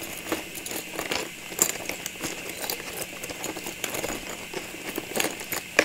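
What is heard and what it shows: A clear plastic cylinder filled with small ornaments, with a red paper label on the front, is gripped, tapped and scratched with long nails on its sides and top. The sound is a steady run of crisp, bright plastic taps and scratchy clicks with faint rattling from the contents. A few sharper taps stand out above a low hiss.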